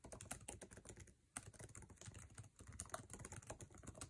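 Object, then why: Laptop keyboard, plastic keycaps on metal body. Fingertips type fast on a MacBook Air keyboard with plastic keycaps in an aluminum chassis, producing a dense run of quick, dry clicks and taps. The tapping is close and crisp, with a brief lull just past one second before a sharp key strike restarts the rapid typing.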